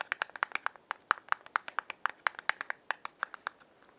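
Long fingernails tap the front of a small yellow cardboard matchbox held in the hand, producing a quick, uneven run of about 25 crisp, dry clicks centered near 1.3 kHz with bright upper edges and almost no ring. The tray then slides open to show the box full of wooden matches.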